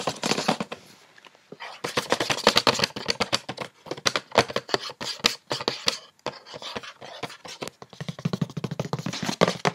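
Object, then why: Paperboard cosmetics box. Long painted fingernails tap quickly on the top and sides of a tilted, hollow, medium-sized printed white paperboard gift box from a cosmetics set. The result is dense bursts of crisp, bright clicks with a light hollow thump underneath. Each tap dies away almost instantly, with brief pauses between the flurries.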